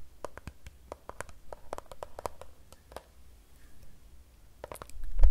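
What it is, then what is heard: Plastic water bottle tapped with nails. A Fiji plastic water bottle filled with water is tapped with the long nails of both hands. Quick, sharp clicks come in irregular bursts over a constant low rumble, with a pause in the middle, then a louder cluster of taps and a swell of low noise at the end.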